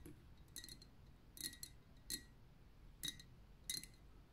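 Long painted nails and fingertips tap quickly around the glass body of a tall, liquid-filled glass lava lamp with a metal base and cap, lit pink. Bright, clicky glassy ticks come in short, uneven clusters, each dying away almost at once over a quiet, low background hum.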